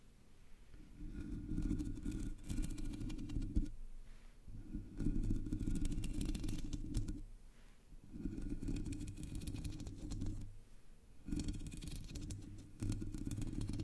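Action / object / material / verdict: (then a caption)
scrape / metal mesh microphone grille / metal mesh / none. Long natural nails scratch the hollow black metal mesh dome grille of a Blue Yeti microphone with no foam cover. Four bursts of dense, rough scratching are separated by short pauses, and they sound like a deep, rumbling low-end scrape close to the microphone with a faint bright rasp on top.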